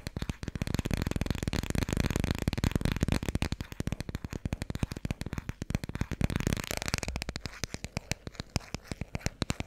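Long red-painted fingernails tap quickly on the cover and edges of a small, thick Dikkie Dik children's board book with solid, glossy laminated cardboard pages, held in both hands. The taps are short, dry, dull clicks with a soft low thud. They come in a dense, rapid flurry at first and thin out into sparser, distinct taps toward the end.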